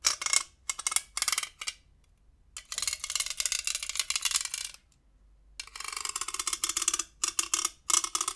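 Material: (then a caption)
Metal. A large hollow metal güiro with ribbed silver metal and conical ends is held diagonally in one hand and scraped along its ridges with a dark hand-held scraper. It gives bursts of bright, rasping metallic scrapes separated by silent pauses. A few longer strokes carry a faint ringing tone.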